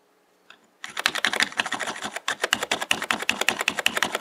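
Fingertips tap keys in the function row and the Insert/Delete cluster of a black plastic mechanical computer keyboard with hollow keycaps. After a faint early click, a rapid, uneven run of bright, hollow plastic clacks begins and continues to the end. Each keystroke is short and sharp with almost no ring.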